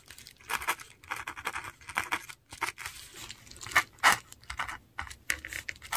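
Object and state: Paper sheet scratched by a metal pen nib.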